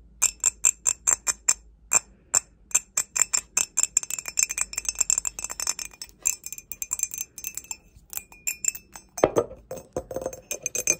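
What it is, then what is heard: Glazed ceramic mug tapped with nails. Long acrylic nails tap the outside wall of a grey, glossy glazed ceramic mug, hollow and empty and held in both hands. The taps come as a steady run of quick, bright, chiming clinks that thin into scattered taps before a brief denser flurry near the end. Each clink stops almost instantly.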